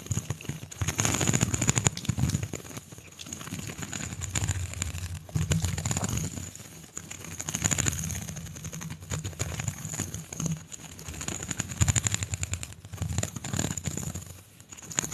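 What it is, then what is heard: Plastic pop tube. A single hollow pink corrugated plastic pop tube is held horizontally in both hands while it is flexed and long nails run over its ridges. The result is dense, rapid clicking and rattling in bursts that swell and fade, over a low hum and a steady high tone.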